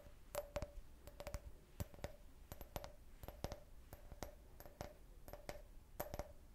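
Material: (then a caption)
Glass. A clear, hollow, empty can-shaped drinking glass is held in the hand and tapped with fingernails. The taps come in quick clusters of two or three, each a sharp, bright click with a faint glassy ring that dies away almost at once, over a soft low hum.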